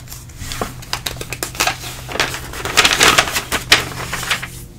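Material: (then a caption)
Paper. Fingertips slide over a thin glossy page of an open trade magazine, then lift and flip it. Bright, crisp papery rustles and sharp flicking crackles swell and fade over a faint steady low hum.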